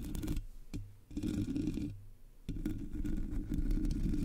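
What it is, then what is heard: Metal mesh microphone grille being scratched. Long nails scratch the top and sides of the black hollow metal mesh grille on a Blue Yeti microphone. The result is dense, low scraping and rasping in bursts, with brief pauses between passes and a few sharp clicks.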